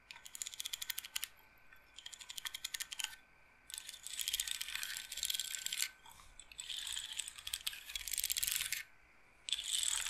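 Fingernails tap and roll the beads along the rods of a wooden bead roller massager, its frame held upright. Five bursts of rapid, bright, dry clicking and rattling are separated by brief quiet pauses, with almost no low end.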